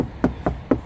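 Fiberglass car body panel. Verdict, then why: Plastic. A fiberglass plastic car body panel is knocked four times in a sound test to tell plastic from metal before attaching magnetic mounts. Each knock is a short, dull, hollow thud centered low around 270 Hz, with no ring afterward. The dead sound marks the panel as fiberglass plastic rather than metal.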